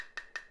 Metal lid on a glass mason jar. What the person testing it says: test our seal by tapping on it and it should sound high pitched